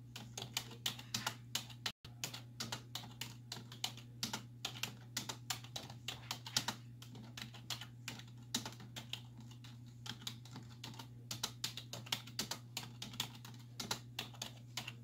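Long nails and fingertips rapidly tap the hollow keys of a black plastic computer keyboard resting on a wooden desk. The sharp, bright clicks come in quick, uneven bursts and die away almost instantly, over a steady low hum with a brief silent gap near the start.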